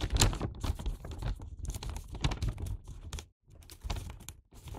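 A Santa-print paper gift bag filled with sweets has its paper top folded and pressed into a hat shape by fingertips and nails. The paper gives a run of sharp creasing clicks and crinkles over a low rumble, with a brief silent gap near the end.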